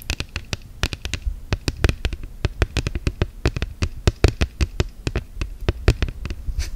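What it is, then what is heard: Silicone phone case tapped with nails. Long gel nails tap and scratch rapidly on a hollow-backed orange silicone case fitted on a smartphone. The sound is a dense run of short, dry clicks with very brief ring, each with a soft low thump and a bright click on top.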